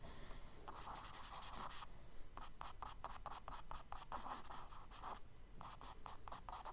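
A charcoal stick held in the fingers draws and scratches strokes across the tan kraft paper page of a spiral sketchbook lying flat on a dark table. Quiet, dry, gritty scratching comes in short, rapid bursts of back-and-forth strokes with brief pauses between them, bright and hissy over a faint low rumble.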